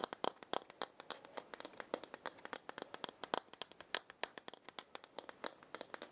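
A hollow dried gourd maraca with filling is held by its wooden handle and shaken, then moved partly aside. It gives about 43 quick, dry, bright rattling bursts in an uneven rhythm, each cutting off at once with no low end.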